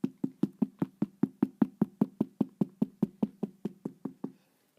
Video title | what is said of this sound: CHANEL 2.55 REISSUE BAG - SHAPE LOSS ISSUE | you can hear the difference already in material so it's a more robust and strong